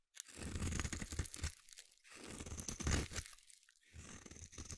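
A metal blade scrapes across a solid green bar of soap, producing dense, crunchy, crumbly scraping in three bursts separated by short pauses. The sound is heavy in the low end, with a faint bright hiss on top.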